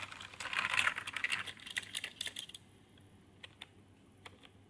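Fingertips type on a full-size Redgear backlit membrane gaming keyboard with red lighting, plastic keycaps and a plastic body. A fast, uneven flurry of bright, clacky plastic key presses fills the first two and a half seconds. It thins into a few isolated taps over quiet near-silence.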